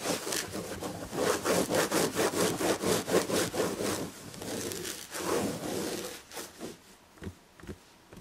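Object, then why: Upholstered chair back, woven fabric. Long red nails scratch fast across the red and gold tapestry upholstery of a fabric-upholstered chair back. Rapid, rhythmic rasping strokes repeat at about two per second, giving a dry, bright scratching texture. Near the end the strokes thin out into a few softer, separate scrapes.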